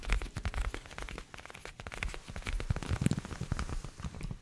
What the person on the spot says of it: Und ich mochte diese klebrigen Klopfgeräusche wirklich sehr